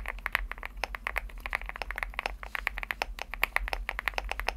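Fingertips type quickly on a Leobog Hi75 75% mechanical keyboard with a white aluminum case and pastel plastic keycaps. About 36 sharp, bright, clacky keystrokes arrive in a fast, uneven rhythm; each is short and dry with no ring. A faint low hum sits underneath.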